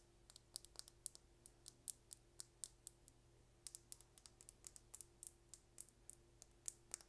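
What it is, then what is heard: Plastic lip gloss tube. A slim, small, hollow red plastic lip gloss tube with a gold and blue cap is held in the hands and tapped and scratched with long red nails. The result is a quick, irregular run of quiet, bright, dry clicks that stop almost instantly, over a faint steady low hum.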